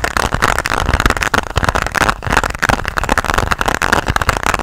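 A flat, hard pink plastic pencil case is held close to the mic and tapped and scratched with long nails. The result is a dense, continuous clatter of quick clicky taps over a rough scratching texture, with a low thump beneath and most of the energy in the mids.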